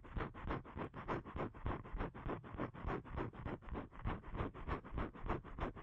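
Fingernails scratch the surface of a thin, flat blue cardstock card held in both hands. The result is a quiet, dry, rasping scratch repeated in quick, fairly steady strokes of about three per second, each stroke a short burst with a dull, muffled body and no bright top.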